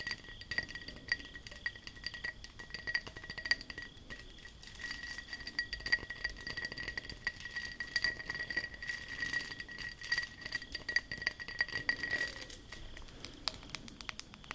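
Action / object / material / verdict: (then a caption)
tap / textured glass object / glass / none. A textured glass object is tapped and scratched with long nails, giving a quick run of light, glassy clinks and clicks with brief scraping between them over about fifteen seconds. A thin, steady tone near 1.9 kHz and fainter high tones hum underneath until around 12.5 seconds.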